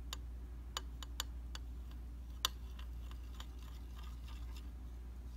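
A round, solid flat glass tabletop makeup mirror is tapped with the tip of a slim, tweezers-like metal tool. The result is several short, bright, dry clicks at irregular intervals, followed by fainter ticks, all over a steady low hum.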